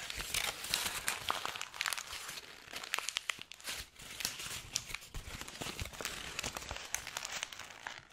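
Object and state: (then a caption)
Crumpled paper sheet. A crumpled white paper sheet with handwriting is squeezed with the fingers and held near the microphone. A dense, bright crinkling fills the clip, broken by many sharp crackles and brief dips, with almost no low end.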